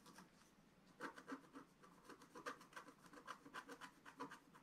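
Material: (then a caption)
Coated paper. A wooden stylus scratches the holly area of a flat, black-coated scratch-art paper sheet. After a quiet opening second, short, dry rasping strokes follow one after another in an uneven rhythm, each with a scratchy midrange core and a bright edge. The strokes fade quickly.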